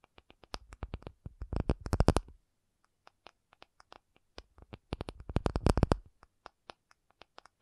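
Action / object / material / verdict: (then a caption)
tap / acrylic object / acrylic / none. An acrylic object is tapped, giving short, dry clicks with no ring and most of the energy low in the range. Sparse single taps build into two fast, dense flurries, one around the second second and one around the sixth, with scattered taps between and after them.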